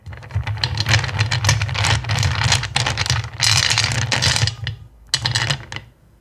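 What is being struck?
Pile of small clear acrylic gems in a bowl.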